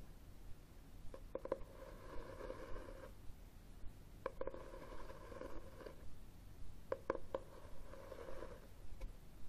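Fingernails tap and scratch the red textured cloth cover of a hardcover book held upright. Quick clusters of sharp, dry taps alternate with short stretches of soft, raspy scratching that has a steady midrange tone. The sounds are quiet and close, with a faint low background hum.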